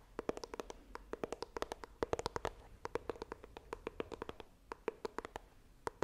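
Long nails tap and scratch the front of a small, hollow white iPhone retail box of coated cardboard held upright. About 38 quick, dry clicks carry a hollow mid tone near 450 Hz, each dying away almost at once, with faint scratching between them and bright edges on the sharpest taps.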